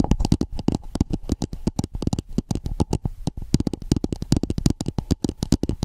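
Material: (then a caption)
Plastic. Long painted nails tap and scratch a hollow red plastic dome-shaped cap with a ridged rim, placed over the microphone. It gives a fast, uneven stream of close, muffled hollow thuds with a low, boomy body and very little brightness. Each tap dies away almost at once, with soft scratchy rustles between them.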